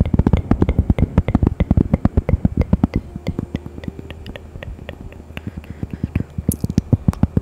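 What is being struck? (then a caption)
Thin cork coaster. Long fingernails scratch and tap a thin, solid, round cork coaster printed with a bear, held in front of the microphone and at one point pressed close to the face. Rapid, uneven dry taps with deep, dull thumps and almost no ring give way to a quieter, scratchier stretch in the middle before the tapping picks back up.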